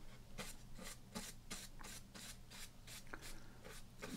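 Fingertips rub and slide along the edge and surface of a small, thin, flat cardboard baseball trading card lying on a small stack of cards on a dark table. The result is a steady run of about ten soft, bright rubbing scrapes over a low hum.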